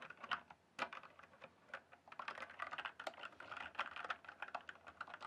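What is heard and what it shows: Fingertips type on a backlit mechanical keyboard with plastic keycaps. Quick, dry clacking keystrokes with a bright midrange click and almost no ring come in an uneven, steady patter after a brief pause near the start.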